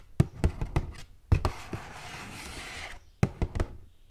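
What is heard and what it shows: Long gold metal claw nails tap and knock on the flat sides of a hollow, hand-held purple printed cardboard gift box with a ribbon bow. About a dozen short, dull, low hollow knocks land in quick clusters, with a quiet, steady hissing rustle in the middle stretch between them.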